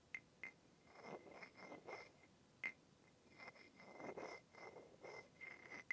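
A second wooden stick with a rounded end, held in the fingers, taps and rubs against the shaft of an upright, light, solid and smooth wooden massage tool with a rounded knob head. Quiet, sharp wooden clicks with a brief ringing tone near 2 kHz alternate with soft, breathy rubbing swishes that carry a bright hiss.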